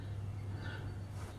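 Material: Nothing is struck.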